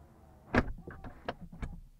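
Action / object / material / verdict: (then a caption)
strike / car door / steel / solid. A Rolls-Royce Ghost Black Badge car door is shut from the inside using the door-close button, giving a deep, solid thump followed by several softer clicks and knocks as it seals. The close sounds solid.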